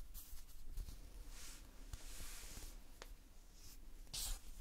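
Fingertips press, pinch and scratch a large mass of multicolored Playfoam, foam beads held in a sticky binder. The result is quiet, close-up crackling and soft bright hissy rustles over a low rumble, with a few short clicky pops and a louder scratchy burst near the end.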